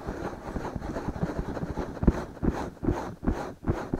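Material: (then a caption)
Silicone. Fingertips of both hands slowly rub and scratch the soft silicone ears of a binaural microphone, making a dense, muffled rustling and scraping that stays low and dull with no bright edge. In the second half, the strokes become louder, separate swells, each fading quickly.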